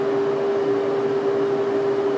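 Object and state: Nothing is struck.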